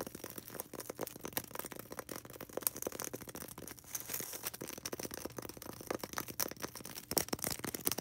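A small, solid white polystyrene foam ball held in the hands is scratched and tapped fast with long red acrylic nails. The result is a dense, continuous stream of dry, crackly scratches and quick, sharp taps with a bright, hissy top and very little low end. It stays quiet throughout, with occasional louder clicks.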